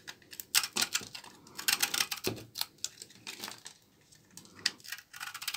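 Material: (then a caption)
Soap. A solid rectangular bar of dark brown dry laundry soap, held in the palm, has thin brittle shavings scraped off its face with a short blade. The result is a run of quick, crisp, bright scraping crackles with almost no low end, each one dying away instantly.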